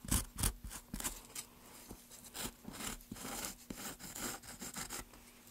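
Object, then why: Basswood block under a chisel. A wooden-handled chisel held in gloved hands scrapes and gouges the carved surface of a solid pale basswood plank. It makes a quick, uneven run of short, dry, bright scraping strokes over a low background hum. The two hardest strokes come near the start, and the rest are softer rasping cuts.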